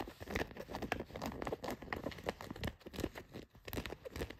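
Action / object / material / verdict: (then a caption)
scrape / denim jeans fabric / denim / none. Long nails scratch along the pocket seams of blue denim jeans. Rapid, dry, crinkly scraping strokes come in uneven bursts, with a rough fabric texture and no ring after each stroke.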